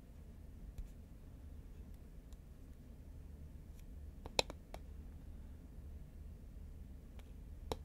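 A green, medium-size, hollow Pringles composite paperboard chip can, held horizontally, is tapped with long nails. A few sparse, sharp, bright clicks with very short ring stand out from a steady low rumble.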